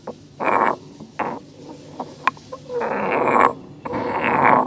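A solid stone pestle is tilted by hand and ground against the walls of a hollow, grey carved stone mortar. Bursts of scraping grind carry a ringing mid-range tone around 1 kHz, broken by quieter gaps, a few short knocks and a sharp click. The last two strokes are long, sustained grinds.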